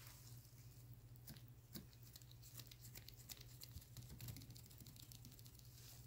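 Black nitrile-gloved fingertips tap and scratch the front and label of a clear, hollow plastic Vitamin E gel bottle, about 12 oz, that appears full of yellow gel and stands on a paper towel. Quiet, crisp crinkly scratches and soft taps with bright high edges sit over a steady low hum. The sounds come in a continuous, uneven patter throughout.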